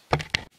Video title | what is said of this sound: We COMPLETELY REBUILD the jet pump in our Kawasaki 15F. | I just tapped it down until I heard it hollow out